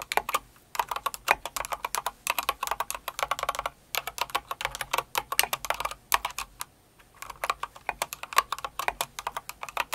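Rapid, bright plastic clacks from typing on a full-size light blue and pink Cinnamoroll mechanical keyboard with plastic keycaps, struck with long acrylic nails and the fingertips of both hands. The crisp, short keystrokes come in dense bursts broken by brief pauses, with a longer gap about two-thirds of the way through before the typing picks up again.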